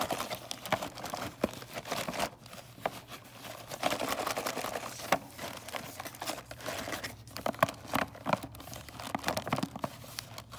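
Fingernails tap rapidly on a full cardboard box of mini candy canes, striking both the cardboard and its plastic window. The result is a dense run of quick, dry clicks with a crinkly, papery texture and bright edges, each tap dying away almost instantly.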